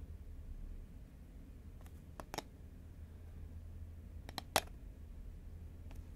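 A horizontal green Pringles cardboard tube is tapped with long nails, giving a few sparse, short, dry clicks with bright tops and a hollow tone near 785 Hz. The taps die out almost instantly over a steady low hum.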